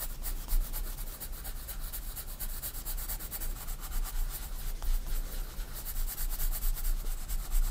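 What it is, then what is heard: Pencil shading on a sketchbook page. A 4B pencil rubs shading strokes across a white paper sketchbook page lying flat. A steady, soft scratchy rubbing runs throughout with faint bright grain, over a strong low hum that dominates the sound.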